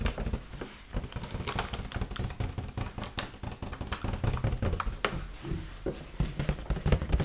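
Long pointed nails tap and scratch the surface of an inflated, hollow, red heart-shaped mylar foil balloon held in the hands. The result is a rapid, uneven patter of short, dull, low thumps with almost no ring, broken by occasional bright, crinkly scratches across the foil.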